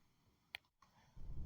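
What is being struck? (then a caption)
Wooden board. A wooden board is sharply tapped twice: a bright, dry tap followed by a quieter second one, each dying away within milliseconds with no ringing. A low rumble rises at the end.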